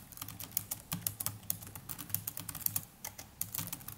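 Fingertips of both hands type continuously on the plastic chiclet keys of a small black netbook keyboard. The result is a steady stream of quick, dry clicks with a bright tap on top and a soft low thud beneath, each key dying away almost at once, all at a fairly quiet level.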